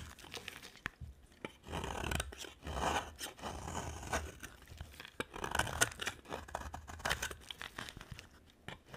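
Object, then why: Bar of soap shaved with a blade. A utility-knife blade shaves a thin remaining slab of a dry cream-colored soap bar with an orange edge. The result is a steady run of dry, crisp scraping and shaving strokes, some longer rasping passes and some short crunchy flicks, with a bright papery texture.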